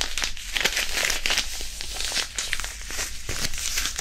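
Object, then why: Disposable hand warmer, non-woven fabric pouch filled with iron powder. A small white disposable hand warmer, a non-woven fabric pouch filled with iron powder, is rubbed and crumpled with the fingertips over the mic. It makes a steady, bright, gritty crinkling and rustling with soft crackles, over a faint low rumble.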